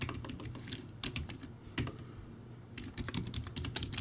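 Fast fingertip typing on a crappy, backlit plastic typewriter-style keyboard with round white plastic keycaps. Rapid, clattering keystrokes come in bursts, with a short lull in the middle. Each press gives a hollow low thud and a bright plastic clack that dies away quickly.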